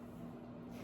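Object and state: Nothing is struck.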